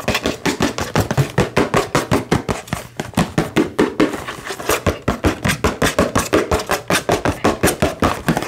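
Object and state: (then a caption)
Cardboard box tapped. Fingertips and nails rapidly tap and scratch a small, hollow cardboard retail box for an Xbox controller, printed in red and green with a clear plastic window, held in both hands. About 43 short, dry, hollow-sounding taps come in a fast, uneven rhythm with a midrange thump. A papery scratching fills the gaps, and each tap dies away almost at once.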